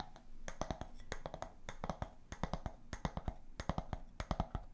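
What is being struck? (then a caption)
Glass jar with bamboo lid. An empty, clear glass storage jar with a round bamboo lid is held close and tapped on its glass walls and lid with long nails and fingertips. The result is a quick, irregular run of crisp, hollow clicks and taps with short ring and a soft low rumble beneath.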